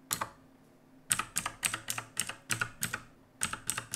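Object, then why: Mechanical keyboard with plastic keycaps. Both hands type with their fingertips on the plastic keycaps of a black backlit mechanical keyboard resting on a wooden desk. Quick, bright, clacky keystrokes come in short bursts, with a pause near the start and another near the end. Each stroke is crisp and dies away almost at once, with little low thump.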